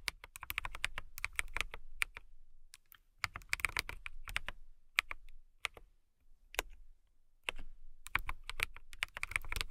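Long nails and fingertips type on a compact transparent acrylic mechanical keyboard with clear plastic keycaps and a clear case. Quick bursts of sharp, bright clicky clacks come in runs separated by short pauses, each keystroke dying away almost instantly.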